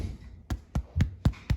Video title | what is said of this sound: Low sodium bread made in a KitchenAid | If it sounds hollow like that, it's done.